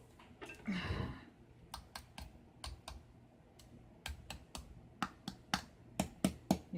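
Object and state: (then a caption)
Crispy roast pork belly crackling. Rested, roasted pork belly skin crackles and ticks just before being cut, giving a run of sharp, dry, crispy clicks. A softer, broader rustle comes near the start, then the clicks grow louder and more spaced toward the end. The crackling shows the skin is crisp.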